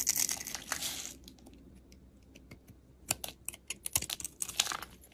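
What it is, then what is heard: Bar of soap being carved. A box-cutter blade scrapes and carves curls and chips off a solid white and pink layered, two-colour striped bar of soap held in hand. A dense, bright scraping rasp fills the first second, then quieter crackles follow before a run of sharp, crisp, high-pitched shaving snaps that die away almost instantly.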